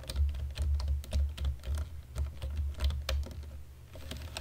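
Fingertips of both hands type in dim light on a black plastic computer keyboard, producing a rapid, uneven stream of short, bright key clicks. Each press lands with a soft, low thud, and the clicks fade quickly between strokes.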